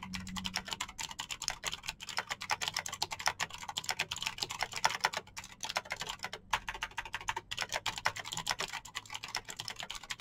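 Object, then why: Plastic mechanical keyboard with clicky switches. Fingertips type fast on a Razer BlackWidow backlit plastic mechanical keyboard with clicky green switches. The result is a rapid, steady stream of short, sharp, bright clicks that stop almost instantly, with brief pauses between bursts and very little low end.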